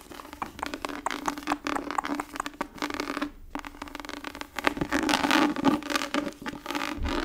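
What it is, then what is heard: Tooled leather book cover. Long nails scratch the raised, embossed pattern of a tooled leather book cover held up close. The result is a dense, irregular run of dry, crackly scratches over a faint steady midrange tone. The scratching briefly pauses midway, then returns louder and busier.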